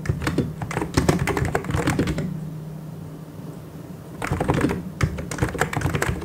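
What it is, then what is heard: Plastic mechanical keyboard. Both hands type fast on a full-size white and grey mechanical keyboard with plastic keycaps, fingertips tapping the keys in quick bursts of clicky, clattering strokes. The typing stops for about two seconds, leaving a low steady hum, then resumes in another rapid burst until the end.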